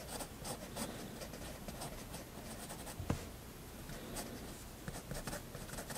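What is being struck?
Fineliner pen nib on paper sketchbook page.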